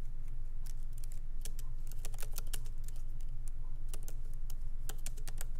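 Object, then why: Laptop keyboard with plastic keys. Fingertips of both hands lightly type on a MacBook Pro laptop keyboard with black plastic keycaps in an aluminum body, resting on a wooden desk. Short, bright, dry key clicks tap out in an uneven, steady rhythm over a constant low hum.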